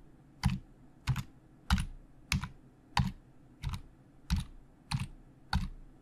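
Fingertips of both hands type on the hollow plastic keys of a black plastic Logitech full-size keyboard resting on a desk. Nine separate keystrokes land at a steady, unhurried pace, each a short hollow low thud topped with a bright click that dies away quickly.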